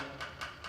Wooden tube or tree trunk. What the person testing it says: you give it a tap along the trunk. And if it's hollow